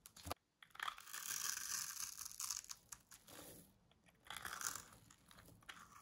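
A small metal blade cuts small cubes off a green bar of dry solid soap held in the hand, giving bright, dry crunches and scraping. The sound comes in quick, irregular bursts with short pauses between them.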